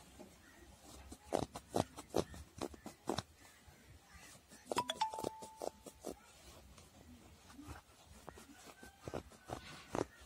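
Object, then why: Faux fur handbag. Fingertips and nails scratch and rub the dark brown pile of a soft, hollow faux fur handbag. Sharp, bright scratching bursts stand out over a quiet background, along with a few brief tonal squeaks.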